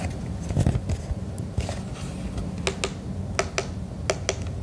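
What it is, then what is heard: Plastic emergency radio tapped. Fingertips and nails tap the top and front of a red and black plastic hand-held emergency radio held in the hand. Soft, low, dull taps and brushing give way to sharper, brighter clicks that stop short with almost no ring.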